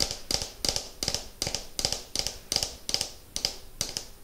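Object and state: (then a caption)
Plastic ball tapped with fingernails. A hollow orange and white striped plastic ball, held in the hands, is tapped with fingernails in a slow, steady rhythm. Each tap is a sharp, bright click, often in quick pairs, with a short high hollow ring that fades quickly between taps.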